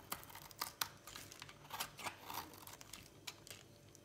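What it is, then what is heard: Dry bar soap being shaved. A utility knife blade shaves a dry, solid red bar of soap, sending flakes falling onto a pile. Quiet, crisp scraping and sharp cutting clicks come in quick, uneven bursts, with a bright, dry crackle and almost no low end.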